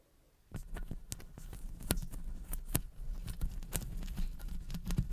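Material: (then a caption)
Metal mesh. Long blue acrylic nails from both hands scratch and tap the hollow metal mesh grille of a large condenser microphone. After about half a second of near silence comes a dense run of crackling scrapes and sharp clicks, with deep thuddy low end and brief bright ticks that stop almost instantly.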